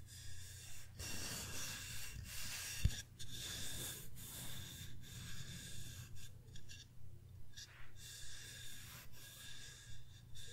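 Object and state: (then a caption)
Engraved wooden plaque, scratched. Fingernails rub and scratch across the surface of a flat, solid wooden pumpkin sign engraved with the word "thankful." The result is a steady run of soft, rhythmic scraping strokes with bright, hissy texture over a low hum, broken by one sharp click near the three-second mark.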